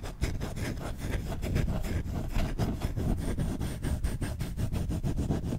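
Short fingertips scratch fast and aggressively across the bowl of a solid wooden spoon, making a dense, continuous run of rapid rough scrapes. The sound is mostly low and thick, with steady loudness throughout.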